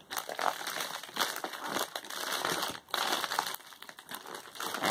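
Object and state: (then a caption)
Plastic bubble mailer. A closed Amazon Prime plastic bubble poly mailer resting on a cloth is pressed, rubbed and crumpled with fingertips and palms. Dense, bright crinkling and crackling comes in uneven bursts with brief quieter gaps.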